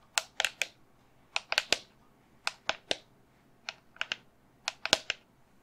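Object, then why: Resin skull candle holder. Long fingernails tap the back of a resin skull candle holder that has been turned around, making 16 short, dry, bright clicks in quick groups of three or four. Each click dies away almost instantly, with very little low end.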